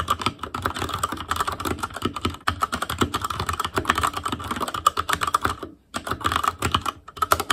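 Fingertips of both hands type continuously on an ASUS ROG Claymore Core mechanical keyboard with Cherry MX Red switches, black plastic keycaps on a metal frame, and a hollow RGB-backlit housing. The result is a rapid, dense stream of short, dry clacks with a tone around 1.2 kHz. Brief pauses break the stream near the six- and seven-second marks.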